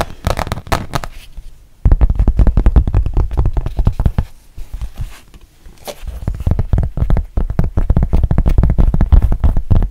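Long painted nails tap and scratch a thin, solid rubber-backed fabric mouse pad with a printed front. Rapid, irregular, dull low taps come in dense bursts with scratchy strokes between them. The flurry eases briefly near the middle before picking up again.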